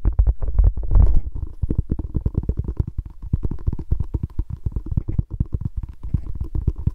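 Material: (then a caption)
Foam. A small, palm-sized orange Spalding-branded foam mini basketball stress ball is held in both hands and squeezed and rubbed with the fingertips and thumbs. It makes a dense run of deep, muffled thumps and rubbing scrapes, almost entirely low in pitch, with a louder rumbling swell in the first second before settling into steady, quick soft taps.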